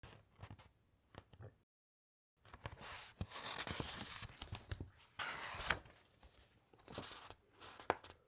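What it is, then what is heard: Thick paper pages being rubbed and turned. Fingertips and nails rub across the thick, uncoated pages of an open encyclopaedia and turn a page. Quiet, dry scratching and rustling, with a brief full silence near the start, builds into louder bright, papery swishes and sharp crackles as the page is handled and flipped, then fades back to soft scratching.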